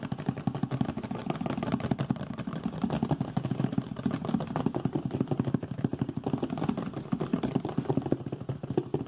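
A medium brown, hollow cardboard box held in the hands is tapped and scratched quickly with fingertips and nails. A fast, continuous stream of short, dry, hollow taps and scratches with a low-mid body and little brightness runs steadily for about nine seconds.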